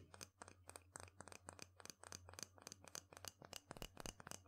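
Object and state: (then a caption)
Wooden mortar and pestle. A wooden pestle is stirred, ground and knocked inside a small, light wooden mortar (a hollow bowl) held in one hand. About two dozen quick, dry wooden knocks come at an uneven pace with short scraping grinds between them. Each knock is bright and clicky and dies almost at once, over a faint steady low hum.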